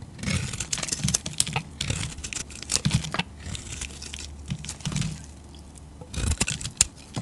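A solid, rectangular olive-green bar of soap, held in the hand, is carved with a metal utility-knife blade. The clip is a run of crisp, crunchy scraping and cutting strokes, each a bright, hissy burst over soft low thumps, with brief quieter pauses between cuts.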